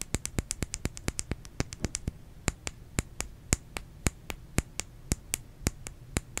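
A bar of soap is tapped about thirty times in quick, uneven succession, faster at first and then more spaced out. Each tap is a short, dry click with no ring, over a faint low background hum.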